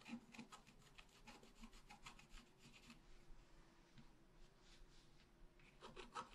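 A wooden stylus scratches the trunk of a tree into a flat, black-coated scratch art paper sheet with repeated strokes. The result is quiet, dry rasping scratches with bright, papery edges, under a faint steady low hum.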